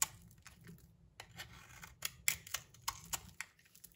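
A palm-sized, solid cream-white soap bar held in the hand is scraped and shaved with a metal utility knife blade, leaving crumbly shavings. The result is a quiet, uneven run of short, bright scraping and crackling strokes with almost no low end, each dying away at once.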